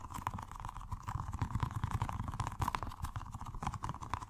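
A small, colorful, squishy rubber stress ball filled with gel water beads is held in the hands and tapped and squished rapidly with the fingertips. The result is a fast, continuous run of soft, muffled, low thuds with a faint steady tone near 1 kHz.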